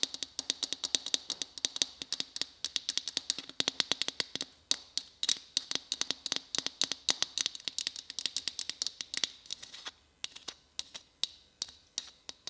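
Fingers tap rapidly on a white Christmas bauble, producing a steady stream of sharp, bright clicks with almost no ring, centred high around 3.8 kHz. The tapping is dense for about ten seconds, then becomes sparser and slightly softer toward the end.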